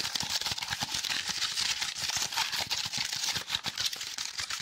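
A small block of brown honeycomb or corrugated cardboard with a hollow cellular structure is held close and tapped and scratched rapidly with fingertips and nails. The result is a dense, continuous stream of dry, crackly, bright scratching and quick clicking taps, almost all in the high range, with no low end and very short decay on each hit.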